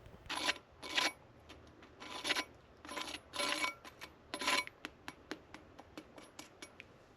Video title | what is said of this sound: How to make the most delicious, creamy and sooo cheesy! Mac and Cheese #macandcheese #cheesy | listen how crispy it is on the top